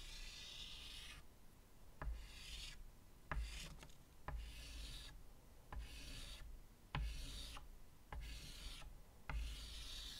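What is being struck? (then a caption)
Chalk stick on a wood-framed chalkboard. White chalk scratches long, curved strokes across a medium, flat chalkboard with a wooden frame resting on a table. Bright, raspy scraping bursts alternate with quieter pauses. Eight sharp taps with low thuds mark where strokes begin, over a steady low rumble.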